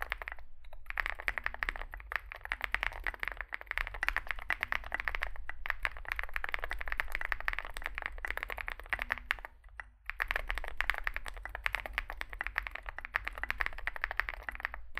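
A compact 65% Zoom65 mechanical keyboard with a dark case and white and grey SA-profile plastic keycaps, resting on a desk mat, is typed on with the fingertips of both hands. A steady stream of short, dry clacks centers in the upper mids around 2 kHz, with a low hum underneath. Brief pauses come near the start and around the ten-second mark.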